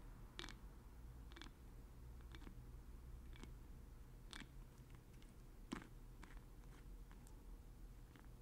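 Fingers twist the black plastic dropper cap of a small blue glass oil bottle on and off. Quiet, short, bright clicks and scrapes come at irregular intervals over a steady low hum.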